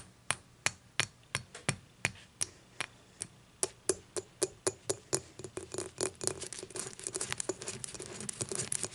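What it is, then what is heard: Glass beer mug. Long nails tap and scratch the rim and base area of an empty dimpled glass beer mug lying on its side. Sharp, bright clicks with almost no ring come at a steady pace at first, then speed up into a dense run of overlapping taps and scratchy strokes.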